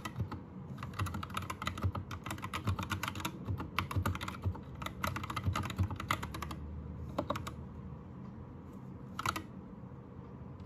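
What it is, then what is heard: Plastic mechanical keyboard being typed on. Both hands type with their fingertips on a white 60% Anne Pro 2 mechanical keyboard with plastic keycaps and a changing RGB light. Quick, short, bright keystroke clicks come in a dense run for about six seconds, then thin to brief bursts near seven and nine seconds. A steady low rumble sits underneath throughout.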